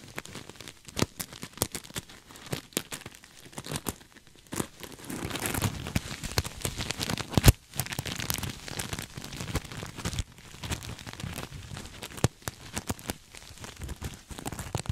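A soft, stuffed cream sequin throw pillow is hugged against the chest while fingertips scratch and rub its sequin surface. The result is a dense, crinkly rustling with scattered sharp clicks and brief louder swells throughout.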